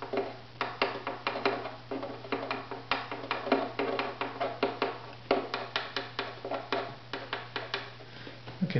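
A small tool held in the fingers taps quickly and lightly on the maple bridge of a strung, hollow wooden violin held upright, for tap-tone tuning of the bridge. About 31 short, dry, woody knocks ring briefly around 400 Hz, with a steady low hum underneath.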